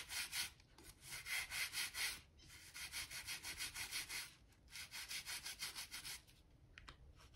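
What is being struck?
Wooden floor planks scrubbed with a stiff brush.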